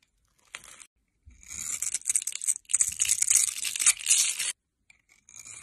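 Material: Soap.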